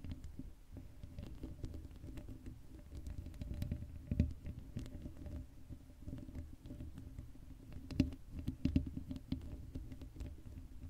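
Long acrylic nails scratch the black metal mesh grille of an uncovered, hollow Blue Yeti microphone. The result is a dense, quiet, low-heavy patter of soft scraping and rustling, with a faint steady hum and a few sharper taps standing out around 4, 8 and 9 seconds.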